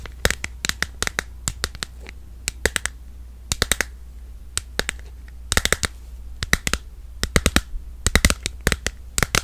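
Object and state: Smartphone in plastic case, tapped with nails.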